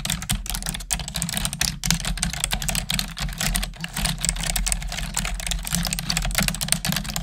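Long nails and fingertips type quickly on a black plastic desktop keyboard. The result is a continuous stream of bright, short plastic key clicks and clacks over a steady low hum.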